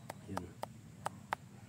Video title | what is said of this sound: How to determine if durian is ready for harvesting | Pag ganito na yung tunog, parang hollow na yung ano niya. Yan, hinog na yan.